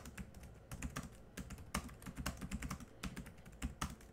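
Both hands type quickly with their fingertips on a laptop keyboard with black plastic keys. The result is a fast, uneven stream of short, dry clicks and taps, each with a soft low thud and a bright click on top, stopping almost instantly.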